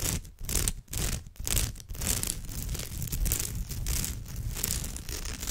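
Long nails scratch across the rows of a woven straw bag's surface, giving a rough, dry scraping rustle with a bright hiss over a low rumble. The first couple of seconds come as quick strokes with brief gaps between them, then the scratching runs on continuously.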